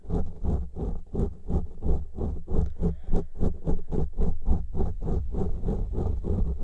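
Fingertips and nails of both hands scratch the tops and sides of two large black windscreens made of soft, porous foam that cover a pair of microphones. About nineteen quick, rustling scratch strokes come in a steady, fairly even rhythm, each one a deep, muffled thump with a short, soft scrape on top. The sound stays dull and low-heavy with almost no brightness.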